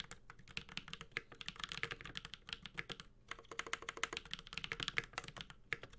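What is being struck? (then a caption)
Mechanical keyboard with aluminum case and plastic keycaps. A Space65 Cybervoyager 65% mechanical keyboard with Holy Panda switches, an aluminum case and plastic keycaps is typed continuously with the fingertips of both hands. The result is a rapid stream of short, crisp, bright clacks with very quick decay and little low end, centered around 2.1 kHz.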